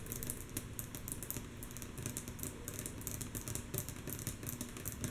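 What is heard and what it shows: Long natural nails of both hands tap rhythmically on a flat, solid, light wooden tabletop. The taps come mostly soft in a quick, steady patter of crisp, bright clicks over a low woody thump, each dying away almost at once.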